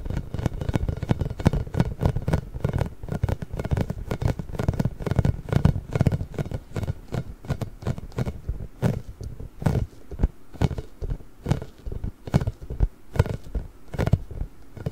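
A large pink inflated hollow rubber massage ball with small spikes is tapped and scratched with fingertips and nails. Rapid, soft, low thuds and scratchy patter come in a dense stream for about the first eight seconds, then thin out into slower, separate dull taps. Each tap dies away almost at once.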